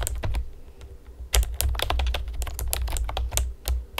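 Long painted nails and fingertips tap rapidly on a pastel plastic typewriter-style computer keyboard with round retro keycaps and hollow keys. The result is a quick, irregular stream of sharp, bright clicks over a steady low hum.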